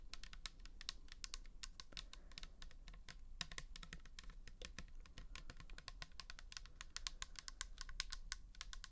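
Long nails tap and scratch quickly on the label and side of a pink plastic toner bottle with liquid inside. A dense run of sharp, bright clicks dies away almost instantly over a soft, steady low rumble.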